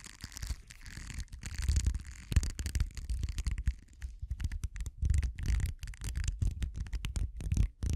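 A small purple silicone facial cleansing pad is held in the hand while the metal prongs of a pink-handled tool scratch and drag through its bristles. The result is a close, dense stream of rapid scratchy bursts with a heavy low rumble and faint bright crackle, rising and falling in short flurries with brief pauses between.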